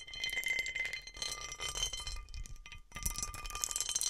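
Nails and fingertips scratch and tap the raised bumps on the underside of a large textured cut glass serving dish. A dense stream of bright, clinking taps and gritty scratches rings with faint sustained glassy tones near 2 kHz and 1.2 kHz. The sound drops off briefly before the tapping resumes.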